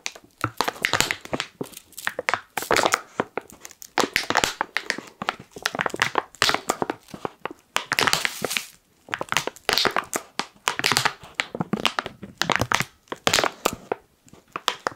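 Fingertips crush and crinkle the top seal of a black foil-lined plastic coffee pouch held at an angle. Dense bursts of sharp, bright crinkling come and go in quick clusters with brief pauses between them, each crackle dying away almost instantly with little low end.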